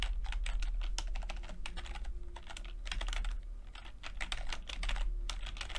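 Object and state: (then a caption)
Plastic computer keyboard being typed on. Fingertips of both hands type rapidly on a low-profile plastic keyboard with red and purple backlit chiclet keys, whose flat, mostly hollow keycaps sit over switches. The result is a quick, irregular stream of light, bright plastic clicks and taps over a steady low background hum.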